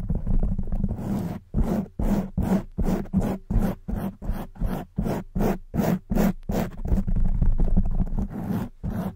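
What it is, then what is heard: Foam microphone windscreen being scratched. Long white nails on both hands scratch fast at a black foam windscreen on a silver microphone. A continuous rough scratching opens the clip, then breaks into quick, regular bursts of rustling, scraping noise with a heavy low rumble beneath and a bright hiss on top.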